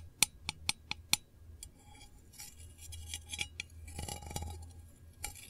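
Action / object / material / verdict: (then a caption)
tap / small round metal candle tin lid / tin-plated steel / none. Long nails tap the lid of a small, round, printed, hollow metal candle tin, making five sharp, bright clicks in the first second or so. These are followed by a stretch of quieter, denser, high ticking and scratching against a low hum.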